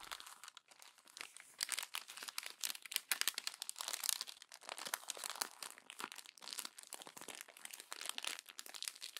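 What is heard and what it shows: A glossy paper magazine is crumpled and flattened by fingertips with long nails, giving dense, bright crinkling and crunching with rapid sharp clicks and no low-end body. The papery rustle swells and fades in bursts across the clip without stopping.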